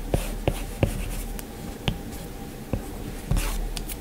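A plastic-tipped Apple Pencil held in the fingers taps and strokes across the large flat glass touchscreen of an iPad in a white frame while drawing. Short, sharp clicks with a bright edge rise out of a soft, low scratching hiss as the tip strikes and slides over the glass.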